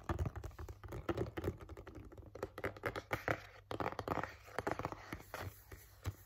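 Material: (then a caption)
Cardboard. A flat, hollow, printed cardboard Halti headcollar package is held upright and tapped and scratched with fingertips and nails. The result is a rapid run of dull, muffled taps with short scratchy passes, heavy in the low range and lacking bright highs, and each tap dies away almost instantly.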